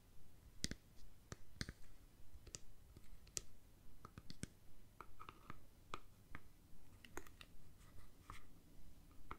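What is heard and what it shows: Fingernails tap and click on the casing of a hand-sized, hollow plastic deodorant stick with a cap, making about eighteen short, dry clicks at a steady, unhurried pace. Each tap is quiet and clipped, with a bright plastic tick around 1.3 kHz over a low background hum.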